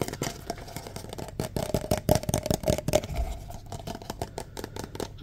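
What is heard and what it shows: A single empty, hollow red-and-white striped paper cup is tapped and scratched on its sides and base with fingertips and nails. The result is a rapid, irregular run of soft taps and scratchy rustles with a faint hollow tone around 620 Hz and some low rumble underneath.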